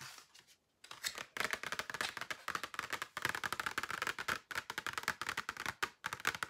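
Long painted nails rapidly tap a flat, rectangular, hollow clear plastic case holding several pairs of false eyelashes, held up in the air. The taps form a dense run of sharp, dry plastic clicks with a bright, hollow tick and almost no low end, each dying out almost instantly. The run stops briefly several times before picking up again.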